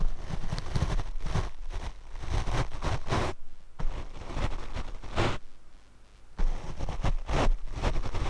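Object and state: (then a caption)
Foam microphone windscreen brushed. A paint brush sweeps across the black foam windscreen of a Rode microphone, producing repeated soft, muffled brushing strokes dominated by deep low rumble. The strokes run almost continuously, broken by brief quieter gaps, with faint hiss spread across the higher range.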